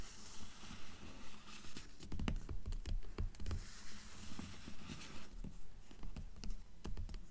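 Long nails tap and scratch the glossy paper dust jacket of a blue hardcover book lying flat. A quick, uneven patter of soft, dull taps mixes with dry, bright scratching across the cover, each tap dying away almost at once.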